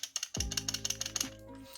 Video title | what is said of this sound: Comment CLONER son SSD NVMe ? (avec un Accessoire à 35€) - 2021 | quand on secoue il ya un petit peu de jeu